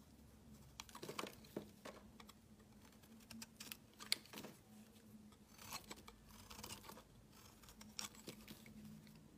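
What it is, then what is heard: Soap bar being shaved. A metal utility knife blade shaves a solid pale yellow oval bar of soap, producing a series of quiet, crisp, bright scraping strokes with short dry cuts and no ring. A faint steady low hum runs underneath throughout.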